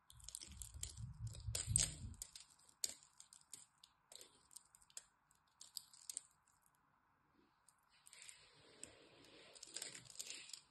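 A solid green bar of dry soap, held in the hand and scored with a cross-hatch, is carved with a metal blade. It gives dry, crunchy scraping and cutting sounds with bright, crisp crackles and short clicks. A low rumble fills the first two seconds, and a faint steady hum runs underneath throughout.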